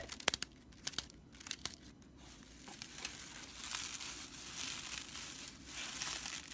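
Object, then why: Straw whisk broom. Fingertips and nails scratch the stitched straw body of a broomcorn straw whisk broom, making a few sharp, dry, bright ticks and crackles over the first two seconds. The hand then grips and rubs the bristles, producing a steadier, louder, high-pitched rustling and crinkling that continues to the end.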